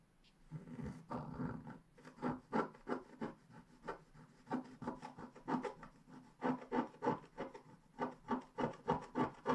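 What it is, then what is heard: Scratch-art paper being scraped. A wooden stylus scrapes away the coating on the bottom foliage of a flat, black-coated scratch-art page. After a longer opening rub, it settles into a quick, uneven series of short, dry, mid-pitched scratching strokes. Each stroke stops almost instantly with no ring.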